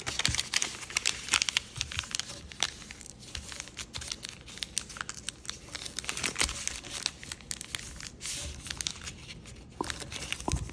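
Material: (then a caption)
Paper. A single small square of thin, patterned floral chiyogami origami paper is folded and creased by fingertips on a light wooden table. Dense, bright crinkling and crackling runs throughout, punctuated by sharper crease snaps and brief rustles.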